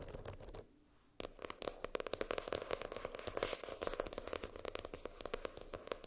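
Long pink French-tip nails tap and scratch the floral-printed hard cardboard cover of a spiral notebook lying flat. Rapid clicky taps and scratchy scrapes run throughout, with a brief near-silent pause about a second in before the dense tapping resumes.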